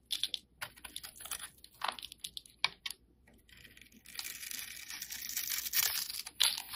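A snap-off utility blade scrapes a solid, rectangular dark black soap bar held in the fingers. Short, bright, crackly scraping strokes come in quick bursts with brief pauses between them. After the midpoint they run into a denser, steady shaving hiss.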